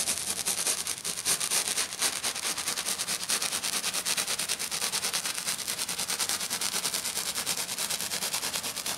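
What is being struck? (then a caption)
Glitter sheet. Fingernails on one hand drag in long scratches across a flat silver glitter sheet lying on a table. The result is a steady run of fast, bright, hissy scratching strokes with almost no low end, pulsing rapidly and unevenly with no pauses.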